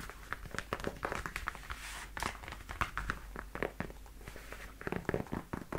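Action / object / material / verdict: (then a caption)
tap / leather high-heel boot / leather / none. Long nails tap and scratch along the leather shaft and toe of worn black leather knee-high high-heel boots. Quick, dry clicks mix with scratchy, crinkling rubs, each dying away almost at once over a low, steady background hum.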